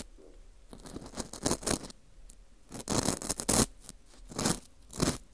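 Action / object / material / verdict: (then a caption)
scrape / dried wheat gluten ring (fu) / wheat gluten / none. A small, porous dried wheat gluten ring (fu) with a hollowed center is held in a gloved hand in front of the mic while its inner hole is scraped and picked with a thin metal hook tool. Bursts of dry, bright scratching and crunchy scraping come in uneven strokes, some short and some drawn out, with quiet gaps between them.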